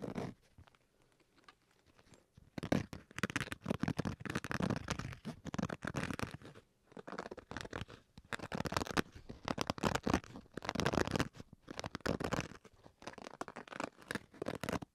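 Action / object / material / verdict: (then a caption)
scrape / fabric-covered hard-shell carrying case / fabric / none. Fingernails scratch the fabric shell of a black zippered, fabric-covered hard-shell Switch carrying case held in both hands. After a quiet opening, dense bursts of rough, crackling scratches come in rapid runs with brief pauses between them.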